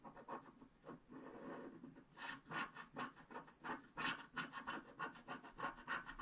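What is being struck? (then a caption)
Wax-coated scratch art card scraped with a wooden stylus. The wide end of a wooden stylus scrapes back and forth across a flat black scratch art card of wax-coated paper, removing the coating. A soft, smooth rub for the first two seconds gives way to brighter, rhythmic scratching strokes at about three per second, with a dry mid-range rasp and high hiss.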